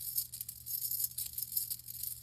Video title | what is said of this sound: Chanel Le Boy 4 month update | it's a very light um metal it's very um you can hear that it's Hollow it's very light